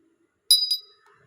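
A treated piece of stone sold as Hainan jade, vibrant-looking but fake, is tapped twice. Each tap gives a bright, high ping that dies away quickly. The short ring marks it as not real jade.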